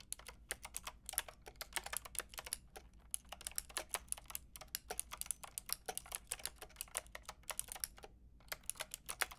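Fingertips with long red nails type rapidly on a Lofree mechanical keyboard with a white plastic case and round pink and grey plastic keycaps. The result is a dense stream of short, bright, clicky key taps that stop almost instantly, with brief pauses between bursts.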